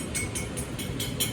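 A cooled blown-glass bubble on a blowpipe, no longer glowing orange and starting to look like clear glass, is tapped in a short series of light, bright clicks. Each tap has a brief high ring around 3 kHz over a steady low rumble. The bubble now sounds like glass.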